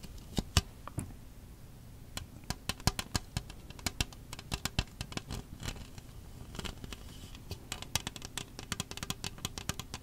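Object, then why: Disposable plastic cup with ridged wall. Long acrylic nails tap and scratch the ridged outer wall of an empty, hollow red plastic disposable party cup held upright. The result is many sharp, bright clicks with quick scratchy rustles, each dying away almost instantly over a steady low hum.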